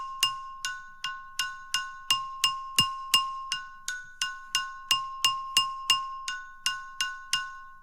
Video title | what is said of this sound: Lithophones in Colorado with Marilyn Martorano | was really surprised at how amazing uh the sound is